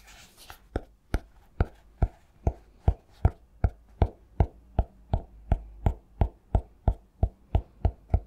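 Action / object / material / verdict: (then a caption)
tap / cork-covered notebook / cork / none. A medium-sized notebook with a cork cover is held upright in one hand while the fingertips and nails of the other hand tap its front cover. About twenty short, dry taps come at a steady pace of roughly two to three per second. Each is a soft, low thud with a brief clicky edge and almost no ring.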